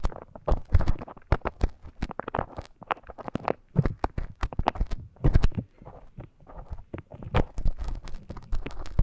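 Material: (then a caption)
Silicone. A thin bamboo stick scratches inside the ear canal of a life-size soft silicone ear model. Dense, rapid crackling and scraping bursts come close together, with most of the energy low and muffled and brief bright clicks cutting through.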